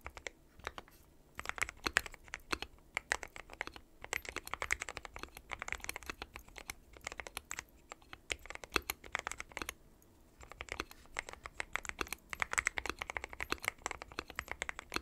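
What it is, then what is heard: Mechanical keyboard with plastic keycaps. Fingertips of both hands type continuously on a dark metal-cased mechanical keyboard with white and pastel plastic keycaps. Rapid bursts of sharp, bright clacks come with very short decay, separated by a few brief pauses. The most noticeable pause is near the ten-second mark, before the typing resumes.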